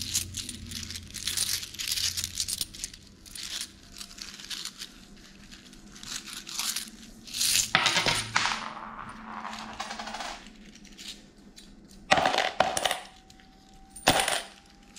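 A handful of solid, mostly gold-colored metal coins is held in cupped hands in thin plastic gloves and shaken and shuffled, so the coins clink and jingle together in dense, irregular bursts. The sound is bright, with short ringing tones around 740 Hz and a faint crinkle from the gloves. The loudest jingles come near 8, 12 and 14 seconds.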